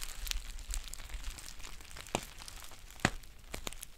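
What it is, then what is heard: Crinkled foil tea pouch. A green foil tea pouch is crinkled and its label area scratched with long painted nails. A soft, continuous bright crinkling and rustling is heard with a few sharper crackling snaps standing out.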